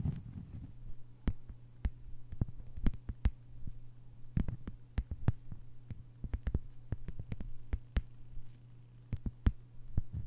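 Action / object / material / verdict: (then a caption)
tap / thin flat plastic sheet / plastic / none. Long nails tap and scratch across a flat green plastic sheet lying on a table. Quick, sharp, dry clicks come in an irregular run over a steady low hum, each tap dying away almost at once.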